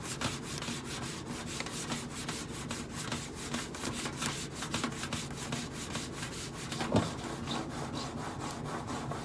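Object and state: Stainless steel microwave side panel scratched with nails.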